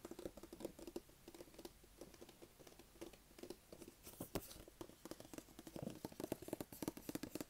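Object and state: Cardboard box tapped.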